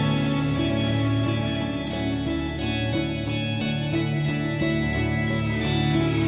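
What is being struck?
Nothing is struck.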